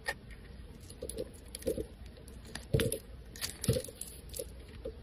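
A snap-off metal blade scrapes strips off a solid, rounded white soap bar pre-scored with lines. The result is a series of soft, crisp shaving crunches at an uneven pace, with a few louder scrapes. The scrapes have a dull low body and faint bright crackle over a quiet background.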